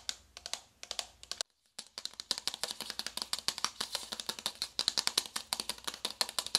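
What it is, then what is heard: Cardboard makeup box. Long white-tipped acrylic nails tap quickly on a small, flat, hollow navy cardboard box for a makeup palette, held up in hand. A rapid run of short, bright, dry clicks and taps continues with a brief pause near the start, with almost no ring after each strike.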